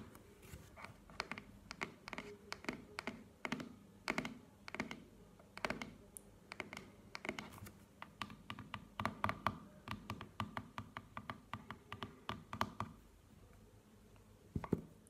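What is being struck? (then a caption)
Small closed cardboard box. Long nails tap and scratch the front and top of a small, square, hollow black cardboard earbuds box, which stands closed on a table. Quick, dry clicks and taps die away almost instantly, mixed with faint scratching. A low hollow tone sits under the brighter clicks.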